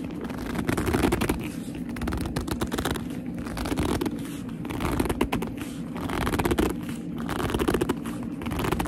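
Long almond-shaped nails grip and scratch a medium black leather handbag with a soft, hollow body. The result is a dense, continuous run of squeaky, rubbing scrapes with a warm low-mid body and only a little brightness. The scraping swells and eases in waves throughout.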